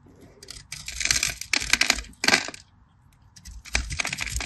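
A metal craft knife scores and cuts a crosshatch grid into a solid, palm-sized, cream-colored rectangular bar of soap held in the hand, flaking off small cubes. Bursts of bright, crisp scraping and crackling come in bunches, with a short quiet pause midway before the cutting resumes.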